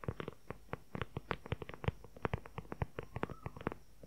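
Fingernails rapidly tap and scratch on a dark brown leather journal cover, giving a quick, irregular run of about twenty short, dry taps. Each tap has a soft low thump and dies almost at once, with faint scratching between them at a quiet level.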